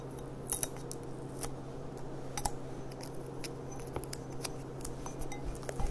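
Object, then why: Thin glass stemmed goblet. Long dark-painted nails tap and click on the bowl of an empty, hollow, clear thin-glass stemmed goblet with a gold rim, held upside down. A scattered run of light, sharp clicks and taps dies away almost instantly, over a steady low hum.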